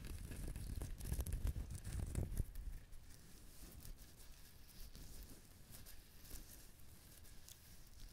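Fingernails scratch and tap the fibrous shell of a whole brown husked coconut held in the hand close to the recorder. A dense, rough scratching with a heavy low rumble builds for the first two and a half seconds. It then settles into a softer, steady rasping dotted with small dry ticks.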